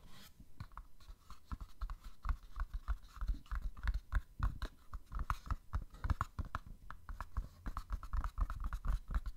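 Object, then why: Small printed cardboard box with a plastic window. A small printed cardboard box from an OPI Mariah nail polish set, with a plastic window, is tapped and scratched with long fingernails. The result is a dense run of quick, dry taps and scratchy clicks with no ring. Each has a low thud body under a brighter papery tick.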